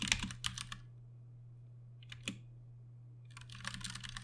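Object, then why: Mechanical keyboard with plastic keycaps. Slow typing with the fingertips of both hands on a compact 60% Ducky One 2 Mini mechanical keyboard with plastic keycaps and Cherry MX Brown switches. Short, bright, clacky keystrokes come in three irregular bursts: a cluster at the start, a pair in the middle, and a denser run at the end. A steady low hum runs underneath throughout.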